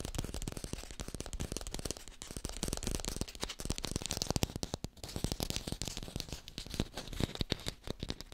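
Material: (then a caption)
Plastic. Fingertips tap quickly and continuously on an artificial green apple, recorded with a hi-fi microphone. The taps are dense, dry and clicky, each dying away almost instantly, with a dull low thump under a brighter tick.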